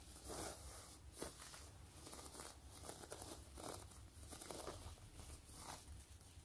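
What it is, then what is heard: Quilted faux-leather wallet, scratched. Fingertips and long nails scratch and rub across the pebbled faux-leather surface of a long, closed, gray quilted wallet. The result is a steady series of soft, crinkly scraping bursts with bright edges, rising and fading every half second or so over a low, constant hum.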